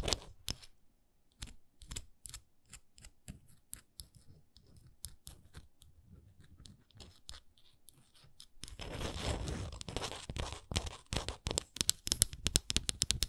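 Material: Wood.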